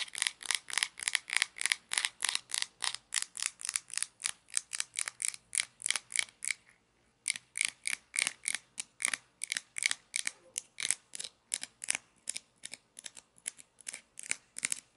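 Long nails tap and scratch the red handle and grey wheel of a small plastic toy pizza cutter. About 57 quick, dry, bright clicks come in an uneven run at roughly three per second, with a brief pause near the middle. Each click stops almost at once, with no ring and almost no low end.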